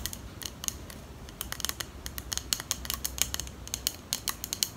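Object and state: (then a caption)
Glass perfume bottle with plastic cap. Long pink nails tap and click on a small clear glass perfume bottle with a pink plastic cap and a small item inside, held close to the mic. The result is a quick, irregular run of sharp, bright clicks that die out almost instantly, over a faint low background hum.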